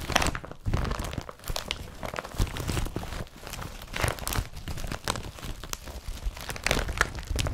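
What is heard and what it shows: Hands crumple and rub the fabric and straps of an empty blue woven polypropylene IKEA BRATTBY carrier bag. The result is a steady run of crinkling, crunching rustles with a heavy low body and a bright, papery edge. Louder bursts swell up through the clip before it ends mid-rustle.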